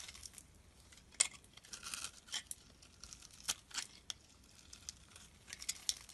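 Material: Soap.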